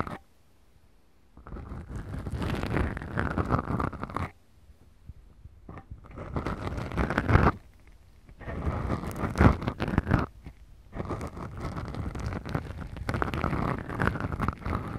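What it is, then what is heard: Foam microphone windscreens being scratched. Long glittery nails scratch two small black foam windscreens on a Tascam recorder's microphones. The result is deep, rumbly, muffled scratching heavy in the lows, heard in four sustained passages separated by short quiet gaps.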